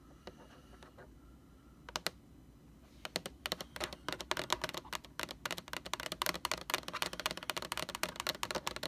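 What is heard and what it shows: Long orange nails on both hands tap rapidly on the label of a large, hollow, white plastic Lysol laundry sanitizer jug. A few scattered clicks in the first three seconds give way to a dense, fast run of sharp, bright tapping with almost no ring.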